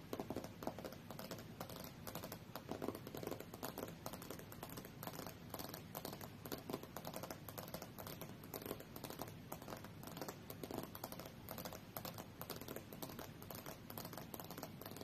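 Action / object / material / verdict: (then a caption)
tap / glass tablet screen / glass / none. Long fingernails on both hands tap rapidly in a typing-like motion on the thin, solid glass screen of a tablet lying flat and face up on a fur rug. The sound is a quiet, steady stream of short, dry clicks with almost no ring, centered in the low-mid range with little bright content.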